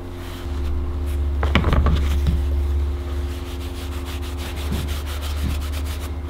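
A small, flat, veg-tanned leather knife sheath with stitched edges, thin and solid, lies on a cutting mat and is then held in hand while being rubbed with a black cloth held in the fingers. Soft, brushy rubbing strokes repeat in a loose rhythm over a steady low hum, with a few brighter swipes standing out near the start.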